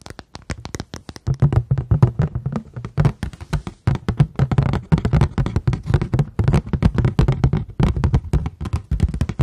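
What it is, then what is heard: Paper plate. A paper plate is tapped in a fast, steady flurry of short, dull taps. The taps have a low, muted body with almost no high end, and each dies away almost instantly.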